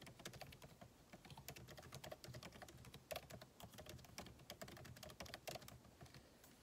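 Fingertips type steadily on the backlit keyboard of a MacBook Pro, with plastic keycaps set in an aluminum body. It makes a continuous run of quick, soft, dry key taps, each a bright click over a light low thud that dies away almost at once. A few taps land harder than the rest.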